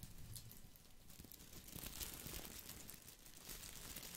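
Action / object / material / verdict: scrape / small artificial boxwood ball with plastic leaves / plastic / none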